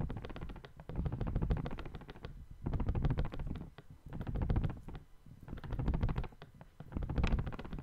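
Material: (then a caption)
Paper. A small, thin, light folded white paper sheet with brown marks is held by one hand's fingertips above the microphone and crinkled and shaken. It gives a soft, crisp rustle of dense crackles in repeated swells that rise and fade. The body of the sound is low and muffled.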